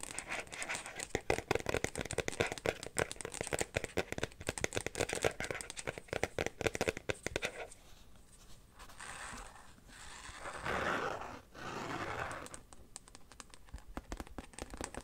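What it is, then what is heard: Carbon-pattern phone case. A carbon-fiber-pattern phone case is held in the hands while fingernails tap and scratch its glossy woven back. Quick, dry clicking taps fill the first half. Then come softer, drawn-out scratching strokes with a bright hiss, and the taps return at the end.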